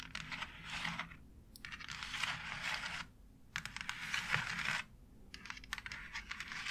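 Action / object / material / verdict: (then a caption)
scrape / embossed plastic wall panel / plastic / none. Long nails scratch across the textured surface of a white embossed plastic faux brick wall panel. There are four bursts of bright, raspy scraping, each separated by a brief quiet pause.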